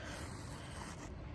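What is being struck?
Nothing is struck.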